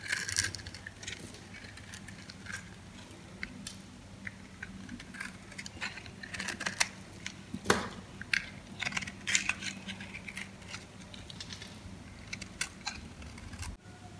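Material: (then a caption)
Soap. A metal knife scrapes and cuts thin slices and crumbs from the surface of a yellow solid dry soap bar held in hand. The sound is a run of crisp, bright crunching and scraping bursts, some louder than others, over a steady low hum. Crumbs break off with dry, crackling snaps.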